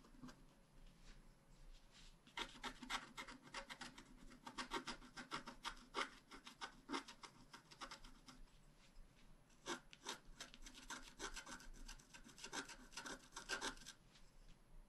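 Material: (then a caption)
Coated paper. A wooden stylus scratches the upper flowers on a thin, flat, black-coated scratch art paper card. The result is a run of quick, dry, raspy strokes, bright and papery, with short bursts and brief pauses between them.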